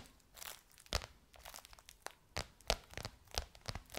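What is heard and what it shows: Long nails tap and scratch a bronze-gold crocodile-embossed faux leather cover stretched over a curved hollow form. Quick, dry taps cut through bright, crinkly scratching that rises and falls between them. Each tap dies away almost instantly, with a faint low thump underneath.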